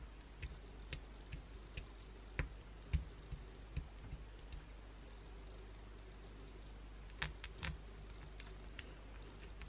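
Long pointed blue acrylic nails scratch the edge of a solid white bar of soap held upright, sending flakes falling onto a towel. Short, sharp scratchy clicks come in scattered bursts, with a quiet pause in the middle, over a steady low hum.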